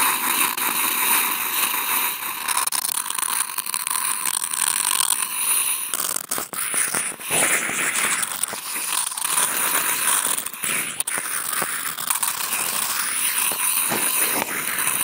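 Wooden toothpicks clipped to contact mics are scratched by two hands along a large flattened brown corrugated cardboard box. The result is a dense, continuous, bright, crackling scrape with no low end, holding a steady level with brief dips and sharp ticks throughout.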